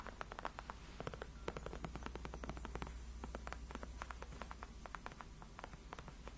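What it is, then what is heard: Faux leather chair backrest tapped with fingernails. Long acrylic nails scratch and tap across the backrest of a large white padded faux-leather (PU) gaming chair, which is solid and cushioned. The quiet clip is a rapid stream of short, crisp clicks and scratchy strokes that die away instantly, over a steady low hum.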